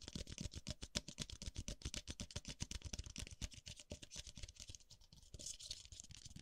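Fingertips tap and brush the base and rim of a single small, white, hollow, empty disposable paper cup held in one hand, while the cup moves from side to side near the microphone. About four quick, uneven taps a second give dry, hollow thumps with almost no ring, mixed with papery brushing and scratching hiss that swells toward the end.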